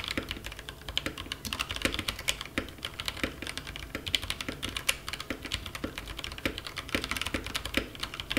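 Two-handed fingertip typing on a compact mechanical keyboard with black plastic keycaps, resting on a bare desk. It produces a steady run of quick, bright, dry clacks with almost no ring, each with a faint low thud underneath.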